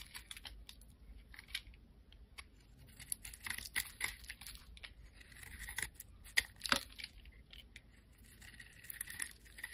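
A solid, rectangular, translucent amber glycerin soap bar is held in the hand and scraped along its face with a metal blade. The result is a quiet run of crisp, bright scraping and clicking sounds, with irregular sharp peaks over a soft hiss.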